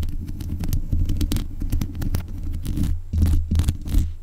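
Long nails scrape the metal mesh grille on the head of a black USB condenser microphone. The result is a dense, rough scratching close to the mic, with a heavy low rumble underneath and rapid bright streaks.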